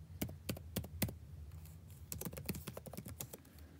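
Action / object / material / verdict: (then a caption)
tap / plastic laptop keyboard keys / plastic / none. Fingertips type rapidly and continuously on the blue-backlit plastic keycaps of a dark laptop keyboard. The result is irregular, quick, sharp clicks and clacks with short, dry decay over a low, steady hum, with a brief lighter pause in the middle.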